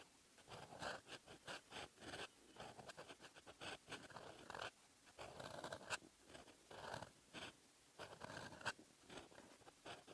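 A metal fountain pen nib scratches across the lined paper page of an open notebook, writing in red ink. Quiet, dry scratching strokes come in short bursts with brief pauses between them, and the sound is bright and papery with little low end.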